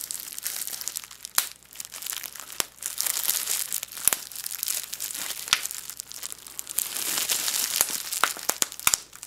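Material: Plastic.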